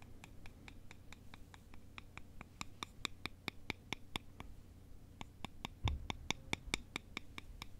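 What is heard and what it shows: Two thin, long, solid wooden sticks held by the fingertips are crossed and scraped and tapped against each other, making about 31 short, dry, bright clicks. The clicks come at an uneven pace with a brief pause midway and ring around 2.3 kHz over a quiet, low background hum.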